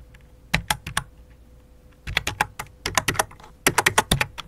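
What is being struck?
Plastic computer keyboard.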